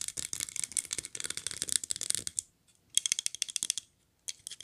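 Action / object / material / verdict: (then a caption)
tap / small glazed ceramic figurine / ceramic / none. A small glazed ceramic polar bear figurine in a red Santa suit is held upright, turned over and tapped with long nails. The result is quick, bright clicking in dense bursts with a high ringing tone, broken by two short pauses.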